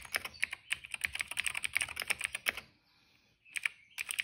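A retro-style cream plastic mechanical keyboard with dark and purple plastic keycaps and a hollow case, resting on a rug, is typed on steadily with the fingertips of both hands. Crisp, bright clicks come in quick, uneven bursts with almost no ring, with a short near-silent pause in the middle before the typing resumes.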